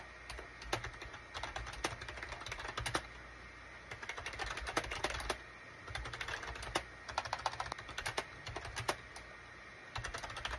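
Fingertips type on a full-size gray and cream SHIPADOO K600 wired USB keyboard with a hollow plastic case, resting on a desk mat. Bursts of quick, sharp plastic key clicks and clacks, with a bright, short-ringing tone, are separated by brief pauses, over a low steady hum.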